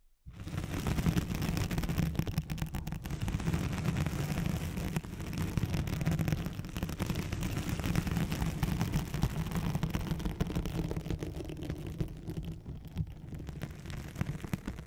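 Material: Nylon.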